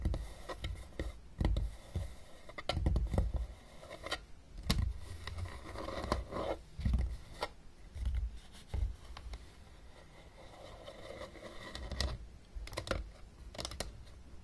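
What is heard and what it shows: Long painted nails tap the top of a closed, hollow, blue plastic travel Battleship case resting on a table, then the hands grip its sides. The quiet, dull taps come in clusters with soft scraping and handling rustle between them, and each tap dies away almost at once.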